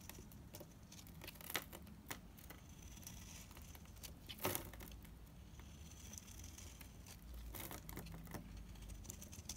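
A solid, cream-colored bar of dried Ayu soap, held in the hand, is cut with a yellow utility knife, shaving off brittle flakes. Quiet, irregular dry crackles and crisp scraping snaps come through, with a few sharper, bright cracks over a low steady background rumble.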